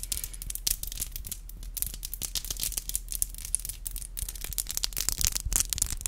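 Long black glossy acrylic nails are rubbed and tapped against each other, nail on nail. A dense stream of quick, bright clicks and scratchy rubbing runs throughout over a steady low hum, with the taps short and dry and no ringing.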